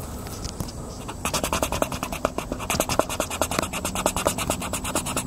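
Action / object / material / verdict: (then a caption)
scrape / paper coloring book page rubbed with a crayon / paper / none. A hand rubs and scratches an orange oil pastel or crayon across an open paper coloring book page lying flat on a wooden picnic table, coloring a tractor picture. After a quiet, faintly hissing first second, a rapid, steady run of dry, bright scratching strokes begins. The rasps continue back and forth through the rest of the clip.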